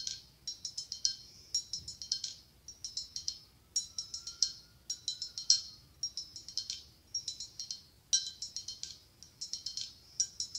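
Long acrylic nails tap fast on the side of a hollow, ribbed, white blown-glass pumpkin. Bright, high clicks come in quick bursts with short pauses between them. Each tap is dry and brief, with only a faint glassy ring.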